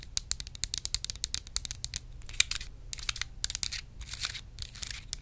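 Long red nails rapidly tap and scratch a small, hollow, clear plastic compartment organizer box holding colored contents. The result is a dense run of sharp, bright plastic clicks with almost no ring, mixed with stretches of scratchy, high rasping.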